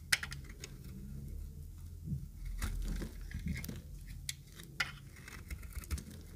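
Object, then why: Bar of soap scraped with a blade. A utility knife blade scrapes the surface of an oval, pink-green speckled bar of solid dry soap. Dry, crumbly scraping and crinkling come with sharp, bright clicks and short flicks over a low, steady rumble.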